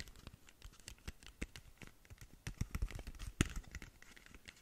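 Long nails scratch and tap the face of a long, narrow black cardboard lip gloss box. The result is a quiet, rapid patter of dry clicks and scrapes with dull low thuds and bright crisp edges, and one sharper tap stands out near the end.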